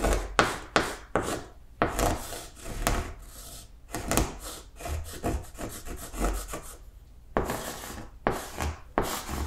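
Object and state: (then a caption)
Chalk writing on a blackboard. Blue chalk writes words across a large flat green chalkboard, making a run of scratching, rubbing strokes with sharp taps as each stroke starts. The strokes come in quick bursts separated by short pauses.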